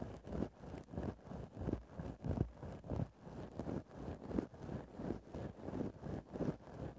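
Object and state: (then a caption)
Fur microphone windscreen being scratched. The tip of a wooden stick scratches into the top of a grey faux-fur microphone windscreen in a loose, repeating rhythm of about one and a half strokes per second. Each stroke makes a soft, close, muffled rustle that swells and fades, weighted toward low and lower-mid tones with almost nothing bright.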